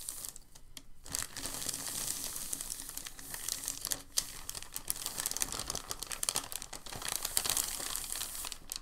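A thin, crinkled sheet of packing paper is pressed and rubbed between the palms, then folded into a smaller stack. After a brief quieter start, it gives a dense, bright crinkling and crackling that stays busy throughout, with sharp crisp snaps rising above the rustle.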